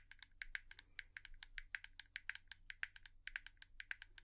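A hairbrush is tapped with long nails in a quick, uneven series of short, dry clicking taps. Each tap is bright, centered around 1.6 kHz with a high sparkle, and stops almost instantly over a faint low hum.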